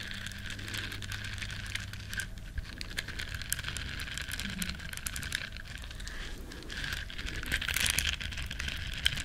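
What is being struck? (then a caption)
Small silicone bristle scrubber. Long nails scratch the bristles of a small, flat, solid yellow silicone scrubber shaped like a duck. The result is a continuous, dense, crackly scratching with bright, crisp detail, a faint steady low hum under the first couple of seconds, and a slight swell in intensity near the end.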